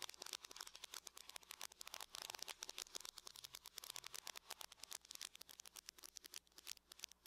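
Long nails from both hands tap rapidly and densely on the lid of a closed, hollow silver aluminum laptop. Roughly fifty quick, quiet, bright clicks overlap into a crisp, dry patter with almost no low end and no ring after each tap.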